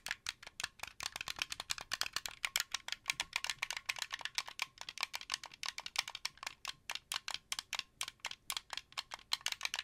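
A translucent blue plastic wired Xbox 360-style controller with white thumbsticks, hand-sized and hollow, is held in both hands while its buttons and sticks are pressed and clicked with the fingertips. A fast, steady run of sharp, dry, rattly plastic clicks sounds bright and high, with almost no low end. Each click dies away almost instantly.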